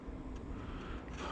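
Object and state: Nothing is struck.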